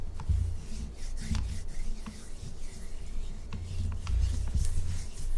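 Long acrylic nails rub and scratch across a large, solid pink Himalayan salt chunk held upright. The result is a steady low, rumbling friction texture broken by quick, sharp scratchy clicks.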